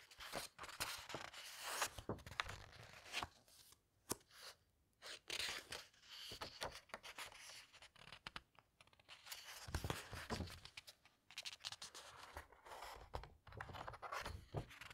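Fingertips with long red nails brush, squeeze and flip the matte text pages of a large, thick hardcover book lying open. The result is a quiet, bright stream of dry papery rustles, crinkles and soft tearing-like swishes, with short pauses between flurries of movement.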